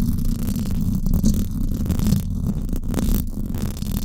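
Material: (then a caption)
Metal mesh. Long acrylic nails scratch the hollow silver woven-wire dome grille of a Blue Yeti microphone. The result is a continuous, muffled, low rumbling scrape with a humming tone around 215 Hz and small swells in loudness throughout.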